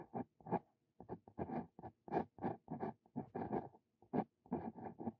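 A Brause Cito Fein steel dip pen nib writes Korean characters on lined paper, scratching across the sheet. Quiet, dry scratching strokes come in short, separated bursts with brief pauses between them, and each one stops almost at once.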